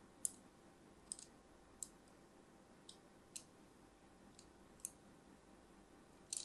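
A thin metal blade scratches lines into the surface of an orange and white striped solid soap bar held in hand. Nine short, bright, crisp scraping clicks are spaced irregularly over a quiet, steady hiss, each dying away almost instantly.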